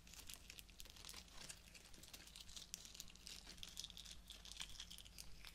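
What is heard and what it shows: Fingertips and nails rub and crinkle the fabric petals, plastic leaves and sprigs of a small bouquet of pink artificial roses with plastic stems, held close. The result is a continuous, dense run of bright, crisp crinkling and rustling with many quick, sharp ticks, over a steady low hum.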